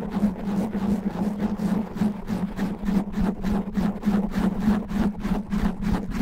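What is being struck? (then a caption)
Foam microphone windscreen. Nails slowly scratch a black foam microphone windscreen with both hands, producing a continuous rough, rustling scrape. A low hum runs beneath it, and the scratch strokes rise and fall in quick, uneven pulses throughout.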